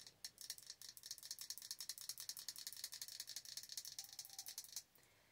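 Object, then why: Glass candle jar filled with wax. Long orange nails tap rapidly on the glass of a large glass jar candle with a dark lid, filled with solid wax. The taps form a quick, steady stream of bright, crisp clicks with almost no low end, running for nearly five seconds before stopping into quiet.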